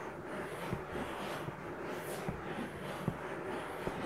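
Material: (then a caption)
Silicone. Fingertips and nails rub and scratch the soft, solid silicone ear of a 3Dio binaural microphone, giving a steady, close, muffled rustling with low thumps. Brief louder bumps stand out over the continuous scratching.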